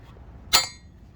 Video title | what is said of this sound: Replacing wheel stud Honda EG EK Honda Civic (92-00) - DETAILED | when you're hammering, when you hear that really solid sound, you know it's all the way in.